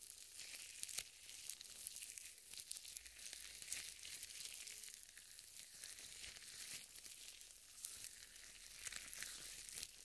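Purple nitrile gloves coated with lotion are rubbed and wrung together, palms and fingers, close to the mic. The result is a steady, quiet stream of bright, crinkly, sticky rubbing with sharp tearing-like crackles and occasional louder bursts, with almost no low end.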